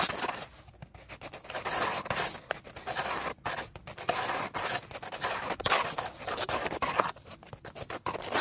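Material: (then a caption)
Wood. Two dark bristle brushes scrub fast over the solid, dry wood of an upright, weathered dead tree stump. The result is a rapid run of bright, dry scratching bursts with little low end, broken by brief gaps where the brushes pause.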